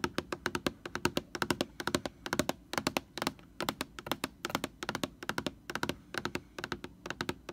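Long nails tap rapidly on the label of a large white plastic Lysol laundry sanitizer jug, making dozens of short, dry, clicking taps. Each tap is crisp and bright with a hollow plastic body and no ring, steady and quiet throughout.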